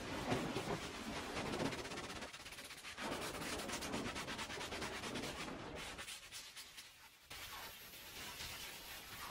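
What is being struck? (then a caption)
Woven fabric rug scrubbed with a plastic-bristle brush. A small green plastic-bristle hand brush scrubs in circles by hand over a wet, soapy, small oval red fringed woven fabric rug lying on the floor. The sound is a steady, rhythmic, scratchy rubbing with a bright, hissy texture and wet swishes, easing off briefly in quieter stretches before picking up again.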